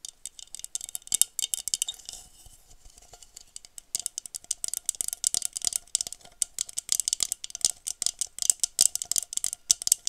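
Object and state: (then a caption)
Textured glass goblet, tapped and scratched with nails. Long pointed nails rapidly tap and scratch the textured diamond-pattern bowl of a hollow, empty blue glass wine goblet held sideways. The result is a dense stream of dry, bright clicking and rattling with no low end and almost no ring, easing into softer scratching briefly before the quick taps resume.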